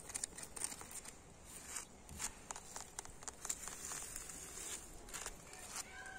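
Fingertips and nails tap and scratch across an old, solid, weathered red brick wall and its white mortar joints. Quiet, dry taps mix with bright, gritty scratching that dies away almost instantly and carries little low end.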